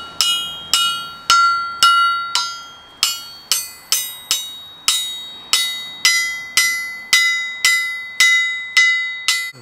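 An antique 378 lb Wilkinson anvil from the 1860s is struck 18 times with a small four-ounce hammer as a ring test. Each strike gives a bright, bell-like metallic ring around 1.4 kHz with higher overtones, and the hammer bounces back noticeably. The clear ring and lively bounce show a sound, well-bonded anvil.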